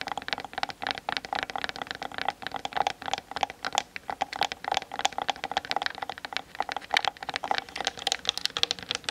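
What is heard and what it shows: Long nails tap rapidly on both sides of the hollow plastic body of a Canon DSLR mounted on a tripod, captured by the camera's built-in mic. Dense, fast, dry clicks and ticks follow one another continuously, each dying almost instantly. They carry a hollow resonance in the mid range and a bright, crisp edge, with no low end.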